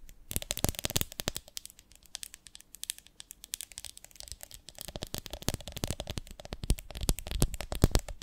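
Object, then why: Ribbed glass jar full of honey. Long nails tap and scratch the ridges of a medium, ribbed, beehive-shaped glass jar with a lid, full of honey. Rapid, crisp clicks and dry scratches come in dense bursts, quieting in the middle with a faint low hum beneath. The tapping then grows busier and louder toward the end.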